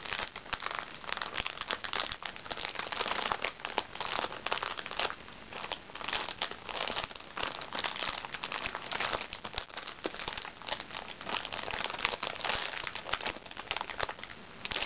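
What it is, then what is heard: Crinkly plastic-film makeup bag. A small, hollow makeup bag made from recycled plastic sachets, lying flat on a lap, is scratched with long fingernails across its crinkly plastic film. The result is a steady, dense stream of bright crinkling and crackling with quick scratchy bursts and almost no low end throughout.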